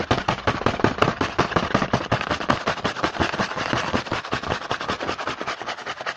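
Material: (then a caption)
Cardboard. Fingertips tap and scratch quickly on the printed front of a small cardboard Hanuta snack box held in the hand. The result is a dense, uneven stream of dry, papery clicks with scratchy rustling in between. Each tap dies away almost at once.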